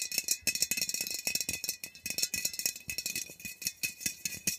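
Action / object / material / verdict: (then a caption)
tap / metal aerosol can / metal / none. Long nails rapidly tap and scratch a labeled metal Glade refill aerosol air freshener can, about 15 cm tall and held upright. The result is a dense stream of crisp, bright clicks and scratchy rasps with almost no low end and very little ring after each hit.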